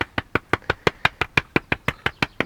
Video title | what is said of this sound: WHEN Renovation Plans Go Wrong: Our Barn Conversion Story | you can hear all the way down that there's there's there's a void behind it